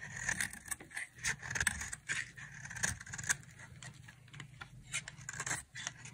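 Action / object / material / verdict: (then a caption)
scrape / bar of soap scraped with a knife blade / soap / none. A utility knife blade carves and scrapes a solid white dry soap bar held in the palm, shaving off white curls. The result is a quick series of short, crisp, bright scraping strokes over a faint low rumble.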